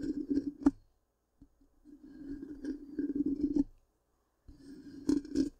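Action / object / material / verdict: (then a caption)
scrape / metal mesh microphone grille / metal mesh / none. Long pink-painted nails scratch the black, hollow, round metal mesh grille of a large microphone. Three bursts of raspy scratching come with a low hum-like tone and sharp clicks, separated by brief silences.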